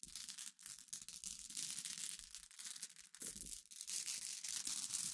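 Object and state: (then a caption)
Pile of glass pebbles being stirred. A pile of glass pebbles, glass gems resting on black fabric, is pushed and stirred by both hands with fingers and nails. It makes a continuous, bright, crunchy clicking and rattling as the pieces knock against each other, nearly all of it high in pitch, with brief dips between strokes.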